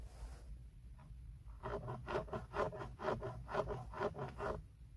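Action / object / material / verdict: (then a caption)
scrape / plastic steering wheel airbag cover / plastic / none. Fingertips and short nails scratch and tap the hard, textured hollow plastic airbag cover at the center of a BMW steering wheel, with a metal ring visible on a finger. Eight short raspy scratching strokes repeat at a steady rhythm, each a dry, hollow scrape with a mid-range tone and almost no ring, over a faint low rumble.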